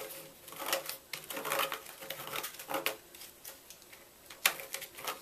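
A small red-handled knife repeatedly scrapes inside the carved hollow of a solid white gym chalk block. The scraping comes as short, dry, gritty rasps with bright, hissy high end and no low rumble, each stroke dying away almost at once. One sharper, louder scrape stands out near the end.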